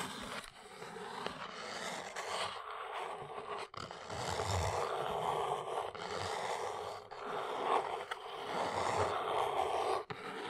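Long acrylic nails scratch and tap the top of a small brown corrugated cardboard Arteza basswood blocks box, likely holding wood blocks, resting on a fluffy rug. A steady, dry papery scraping fills the clip, concentrated in the midrange, with a few brief pauses and light taps between strokes.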